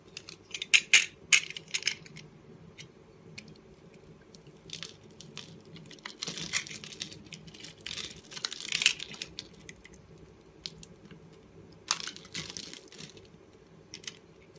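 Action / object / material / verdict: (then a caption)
scrape / bar of soap cut with a blade / soap / none. A box-cutter blade scrapes small cubes off a solid green and pink oval soap bar with a scored grid, held in the palm. Bright, crisp scraping and crumbly clicks come in irregular bursts over a quiet background, with the loudest flurries near the start and around the middle.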